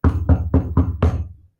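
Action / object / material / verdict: knock / wooden table / wood / hard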